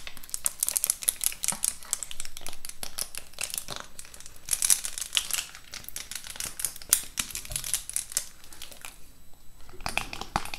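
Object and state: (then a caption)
Plastic-lidded lip gloss box being scratched. Long nails scratch and rub over the clear plastic lid of a large rectangular lip gloss set with a cardboard frame, full of gloss tubes and held close to the mic. The result is a dense run of bright, crinkly scratches and taps that barely ring, with a short quieter stretch just before the end.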